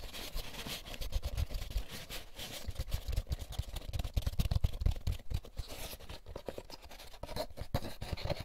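Fingertips scratch and rub the egg cups and end wall of an empty molded paper pulp egg carton. The result is a dense run of quick, dry scratching and rasping strokes with soft, low thumps under them, plus a faint bright hiss. Each stroke dies away almost at once.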